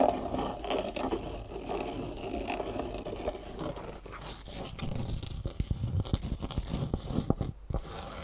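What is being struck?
Foam shoe insole with ribbed fabric top.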